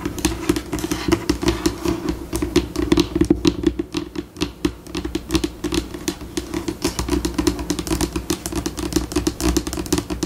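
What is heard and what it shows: Long pink acrylic nails tap and scratch across a flat, solid white laminate tabletop, close to the surface, in a dense stream of quick clicks and scrapes that shifts between slower and faster pacing. A steady low tonal hum sits under the crisp, dry taps throughout.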